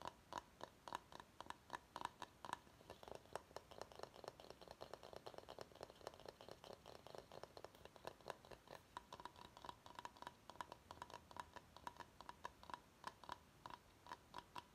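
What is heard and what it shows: Fingernails tap and scratch the sides and base of a medium, empty bamboo bowl. The result is a quiet, steady stream of quick, dry clicks with no ring, with a faint tone near 1 kHz under a soft scratchy hiss.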